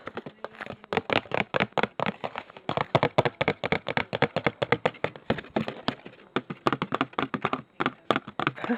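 A cheap Poundland perfume bottle that its owner dislikes is tapped as ASMR tapping. A fast, steady run of short, crisp clicks follows, each dying away almost instantly, with brief pauses in the rhythm throughout.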